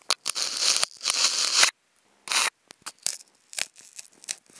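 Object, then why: Polystyrene foam food container. Wooden toothpicks scratch across a hollow, octagonal white polystyrene foam food container. Long, bright, squeaky scrapes dominate the first second and a half, followed by a louder burst and then a string of shorter, quieter scratches, with almost no low end.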